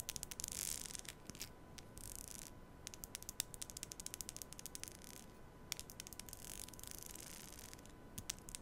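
A black plastic comb is held horizontally over a small microphone with both hands while fingernails run across its teeth. The result is a quiet, rapid stream of sharp, bright ticks and clicks that die away instantly, over soft hissy swells of scraping and a faint steady tone near 1 kHz.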